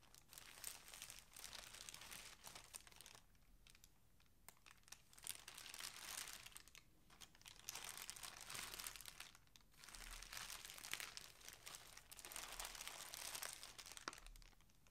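An empty thin clear plastic garment polybag on a table is picked up by hands, folded and crumpled with fingertips and nails. Bright, dense crinkling comes in bursts separated by brief quieter pauses.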